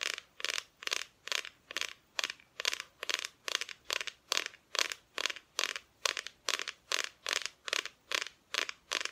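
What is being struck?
Thin plywood Christmas cut-out.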